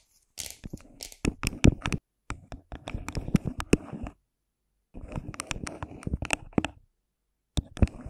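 Long pink nails scratch and tap the outer surface of a hollow, translucent clear plastic cup held over a microphone. The result is bursts of crinkly, hollow scratching and sharp, dry clicks with no ring, broken by brief silences.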